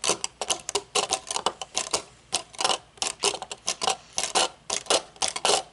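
Long fingernails tap the metal frame and dark tinted lenses of aviator sunglasses, first resting on a table and then held up. The result is a quick, irregular series of sharp, bright clicks and ticks, some in fast clusters, each dying away almost instantly with no low-end weight.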